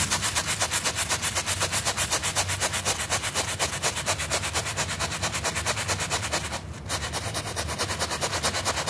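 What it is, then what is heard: Carpet rug sample being scrubbed. A small, rectangular, wool-like carpet rug sample of flat, solid pile, with a red W pattern on white, is held down by fingertips and scrubbed back and forth with a stiff plastic-bristle hand brush as soap foam forms. Rapid, steady, bright bristle rasps repeat throughout over a low rumble, with a brief dip in the strokes near the end.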